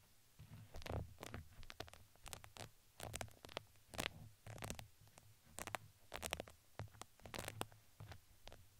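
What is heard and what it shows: A red fuzzy fabric ring with a crinkly texture, fitted around a microphone head, is scratched with two wooden skewers. The result is a quiet, close-up run of soft scratching and crinkly rustles in irregular bursts, with a low muffled rumble beneath and bright fizzy edges on the strokes.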